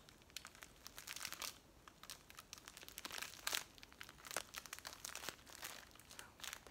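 A hand-sized clear plastic bag full of dried green leaves is squeezed and scratched by long acrylic nails and fingertips. It makes quiet, bright, dense crinkling with many short sharp crackles. A few louder bursts rise out of the steady rustle.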